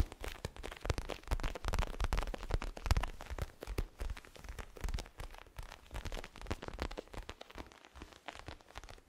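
A small pillow with a zigzag pattern and a crinkly plastic cover is held in both hands and tapped and scratched with fingertips and nails. The result is a continuous, irregular run of dull thumps and crisp plastic crinkles with a heavy low end, the tapping shifting between slower and faster bursts.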